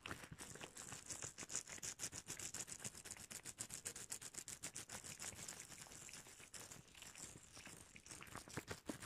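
Shiny red rubber gloves worn on both hands have their fingertips and palms rubbed together and pressed, making squeaky rubber friction. A rapid, steady run of short, dry squeaks and rubbing strokes carries on for about nine seconds, bright and high-pitched with little low end. The sound is quiet and close, with no lingering ring after each stroke.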